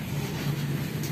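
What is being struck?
Nothing is struck.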